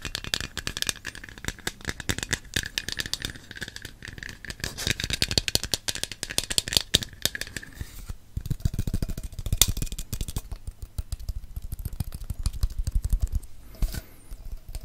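A medium black and green aluminium aerosol deodorant can with a silver metal base, hollow and pressurised, is held in both hands and tapped and scratched with fingertips and nails, possibly shaken. The result is a rapid, rattling stream of short dry clicks and hollow low thuds, with bright scratchy hiss over the first half. A faint steady tone sits under the hiss until it fades out around eight seconds.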